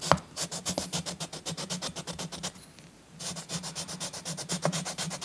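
A green chalk stick is rubbed and scratched over a paper coloring book page in rapid repeated strokes. Each stroke makes a bright, dry scratch over a faint low hum. The strokes pause briefly in the middle of the clip, then resume at the same pace.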